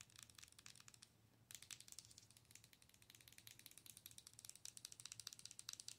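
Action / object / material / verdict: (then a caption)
tap / plastic owl-shaped night light / plastic / none. Long nails scratch and tap the front of a hollow, color-changing owl night light, likely plastic, held in both hands. The result is a dense run of bright, dry clicks and crackly scratches that briefly quiet down, then return louder after about a second and a half, over a faint low hum.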